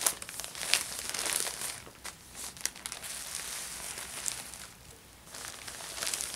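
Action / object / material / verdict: scrape / thin plastic shopping bag / plastic / none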